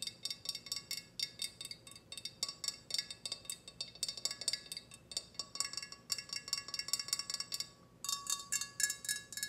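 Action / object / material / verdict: tap / small ceramic teapot / ceramic / none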